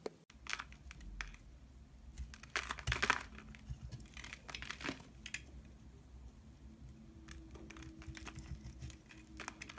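A utility knife blade shaves and scrapes a solid pink rectangular bar of soap held in the hand, peeling off flakes. Quiet, crisp scraping and crinkling strokes come in irregular bursts with a bright edge, the loudest near the three-second mark, over a faint low hum.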